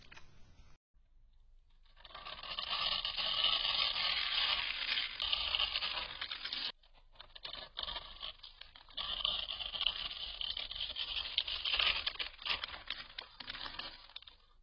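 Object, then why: Solid soap bar scraped by a metal knife blade. A metal knife blade scrapes and shaves the top of a solid, hand-sized green soap bar scored in a grid and held in one hand, crumbling off small cubes. Dense, bright, dry scraping and crunching runs in two long stretches, split by a short quiet break, with almost no low end. Each scrape stops dead with no ring.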